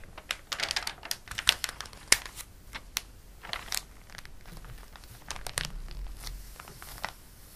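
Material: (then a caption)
Glossy paper. Fingers lift and flip a page of a glossy paper catalog, making a run of sharp, bright crinkles and snaps. A flat palm then rubs across the page, giving a softer, steady papery swish with a few crisp crackles.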